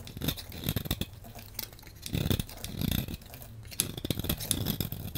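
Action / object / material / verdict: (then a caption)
scrape / bar of soap cut with a metal blade / soap / none. A hand-sized solid blue bar of soap is cut and scraped with a metal blade, and crumbly shavings fall away. The clip is a busy run of short, dry scraping and crunching strokes with a low thud under each and a bright crackle on top, with almost no ring after each stroke.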